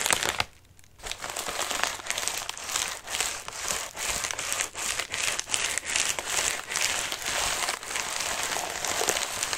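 Fingertips and nails scratch the wrinkled, crinkly surface of a medium white padded mailer resting on a lap. A dense, bright crinkling and scratching rustle runs almost continuously in uneven bursts, with one brief quiet gap near the start.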